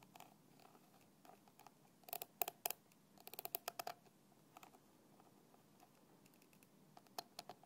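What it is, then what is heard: Plastic bottle cap. A thin black stick taps the red plastic cap of a small translucent plastic bottle lying on its side, partly filled. Quick, irregular bursts of sharp, dry clicks come with a bright edge and a light hollow tone near 730 Hz. Each tap dies away almost instantly, leaving quiet gaps between the clusters.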